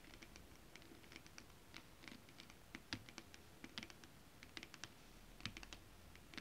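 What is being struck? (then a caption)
Holographic foil scale-pattern fabric tapped with acrylic nails. Long acrylic nails tap rapidly on flat holographic mermaid scale fabric, a foil scale-pattern material. The result is a quiet, irregular patter of short, dry clicks with a bright, crisp edge and a faint low thump beneath, with a few louder taps standing out.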